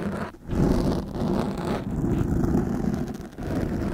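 Steel fork tines scrape across the top and sides of a black foam microphone windscreen dome held in both hands. The result is a dense, continuous, low rumbling scratch that is muffled and boomy with almost no high content, easing briefly a few times before swelling back.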